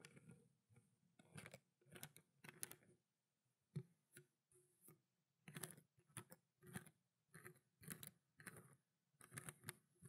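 A small clear plastic water bottle with a blue cap, partly filled with water, is held horizontally and tapped on its ridged body with long black nails. Quiet bursts of quick, irregular taps give a soft low thud with a bright, crisp click on top. Each tap dies away almost instantly, with short pauses between clusters.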